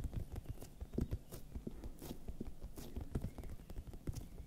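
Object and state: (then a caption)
Bell pepper tapped with fingernails. A large, hollow, raw red bell pepper is held in one hand and tapped with the long nails of the other. The result is a quick run of short, dull, hollow taps, mostly low and soft, with brief bright clicks on some strikes.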